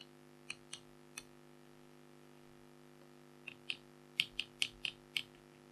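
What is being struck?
Black-coated foil scratch art card scraped with a stylus.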